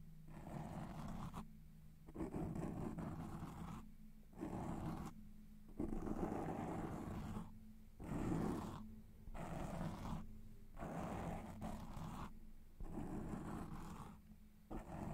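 Fingertips and nails scratch and rub a soft, porous black foam windscreen over a large microphone. The result is a series of close, muffled, rumbling scratching bursts, heavy in low frequencies with a steady low tone underneath. Each burst is separated by a brief quiet gap.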